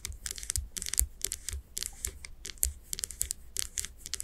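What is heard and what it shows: Long nails tap rapidly on the glass sides of a wax-filled candle jar with its wooden lid on. The result is a quick, irregular stream of bright, sharp clicks with soft low thumps underneath, each tap dying away at once with no ring.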